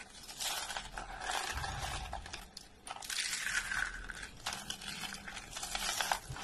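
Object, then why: Rolled soap curls. A pile of hollow, rolled orange and yellow dry soap curls is pressed and crushed with both hands. It makes dense, bright crackling and crunching in long overlapping bursts, with soft low thumps as the hands press down. The brittle curls break apart continuously, with brief quieter pauses between squeezes.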